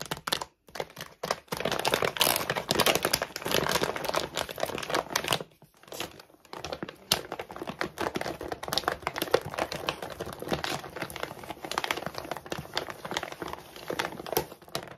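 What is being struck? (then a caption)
Large plastic dog food bag. Long nails scratch quickly and aggressively across the side of a large plastic dog food bag that has been flipped over, then move on to its back panel. The result is a dense, bright run of crinkly, raspy scratching with sharp clicks, broken by a short pause around the six-second mark before the scratching picks up again.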